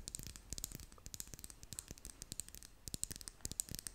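A small red and clear plastic lip gloss tube with a metal band is held in both hands while long nails scratch and tap along it. The result is a quiet, rapid stream of crisp, bright clicks and scratchy rustles that stop short with no ring.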